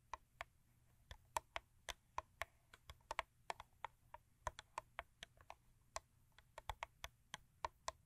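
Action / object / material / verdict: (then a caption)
tap / thin cardboard toothpaste box / cardboard / none. Long acrylic nails tap and scratch a Crest 3D White toothpaste box of thin printed cardboard lying flat on a fur rug, its contents not visible. About thirty quick, dry, papery clicks sound at an uneven pace, each dying out almost instantly, with a midrange knock around 900 Hz and a bright edge over a faint low hum. Around the middle, a second take of the same box fades in over the first.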